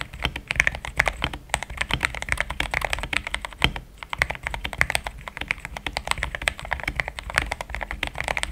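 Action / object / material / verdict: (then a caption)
tap / mechanical keyboard with plastic keycaps / plastic / none. Fingertips type in steady taps on a pink-framed compact mechanical keyboard with thick cream XDA plastic keycaps, a polycarbonate plate, linear switches and a hollow case. The result is a quick, continuous stream of short, dry clacks with a bright click centered around 2 kHz over a soft low thump, each keystroke dying away almost instantly.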